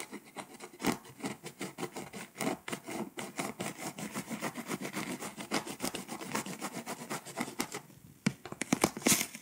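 A pink scraper rubs and scratches the foil coating of a flat foil-coated paper scratch-off map, scattering flakes. A rapid, steady run of dry, bright scratching strokes fills the clip. Near the end it briefly quiets, then finishes with a few sharper, louder scrapes.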